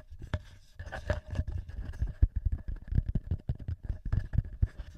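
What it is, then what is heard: Metal microphone capsules tapped and scratched. Fingertips and short nails of both hands tap and scratch the heads of the two small cylindrical metal X-Y microphone capsules, with red and silver rings, on a hard black TASCAM handheld recorder. It produces a rapid, uneven series of deep, boomy thumps mixed with soft scraping, with faint steady tones ringing in the midrange behind the contacts.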